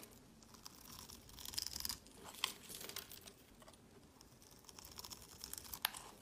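A solid orange bar of soap, pre-scored into cubes and held in the hand, is scraped with a utility knife blade. Soft, bright crackling and crumbling rasps come in bursts as small cubes break off, with a few sharper clicks near the end.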